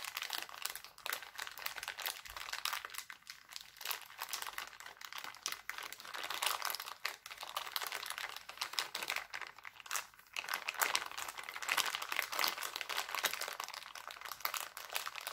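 Hands crumple and crinkle an empty, thin, clear heart-printed plastic cellophane bag. The result is a dense, continuous stream of bright, crisp crackles with no low rumble, dipping briefly around ten seconds before growing louder again.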